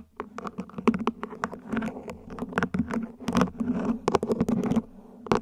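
Long nails tap and scratch the ribbed surface of a small, hollow, mint-green plant pot, probably plastic, placed upside down. Quick, dry clicks come in uneven bursts, mixed with short ridged scratching strokes over a faint steady low hum. Each tap dies away almost instantly.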